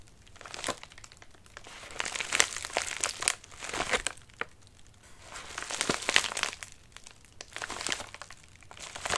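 Fingertips rub and scratch the wrinkled surface of a medium white padded mailer resting on a lap. Bright, dry crinkling comes in waves that swell and fade, dotted with sharp crackles and little low end.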